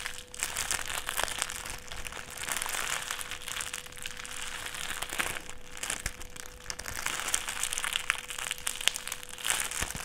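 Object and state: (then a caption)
Clear plastic sheet crinkled. A small folded wad of clear plastic sheet is squeezed and crinkled between the fingertips. It makes a continuous, bright, dense crinkling with many sharp crackles that swell and ease in waves. A faint steady hum sits underneath throughout.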